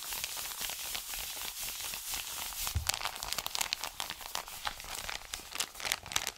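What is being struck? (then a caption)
Kraft-paper padded mailer envelope. An Amazon kraft-paper padded mailer is rubbed fast with an open hand and fingertips, then folded and crinkled. The sound is a steady, bright, dry rustle with dense scratching, broken by sharper crinkles and crackles that pick up in the second half. A brief low thump comes near the middle.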